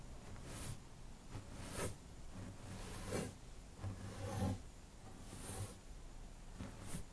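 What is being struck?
Nothing is struck.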